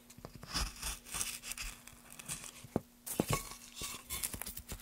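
A gouge cuts short carving strokes into a solid pale softwood board, making dry, bright scraping and shaving sounds in uneven bursts with a few sharp clicks. The strokes pause briefly just before the three-second mark, then resume, while a faint steady low hum runs underneath.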